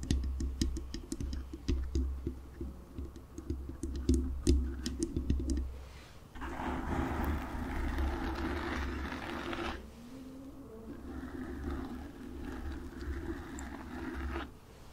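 Long acrylic nails lightly tap and scratch, with both hands, a soft, porous black foam windscreen over the hollow grille of a desktop USB microphone, making contact noise on the mic itself. The first six seconds are a quick, uneven patter of muffled taps over a low, boomy rumble, then it shifts to a rushing, fizzy scratching that fades to a softer scratch before stopping near the end.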